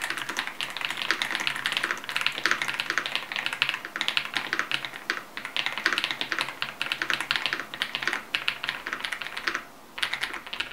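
Fingertips of both hands type steadily on a modded full-size Yunzii YZ98 mechanical keyboard with lubed switches, a foam and tape mod, and plastic keycaps. The result is a dense stream of short, bright plastic clacks with very little low end and a brief lull near the end. The audio source switches between camera and mic.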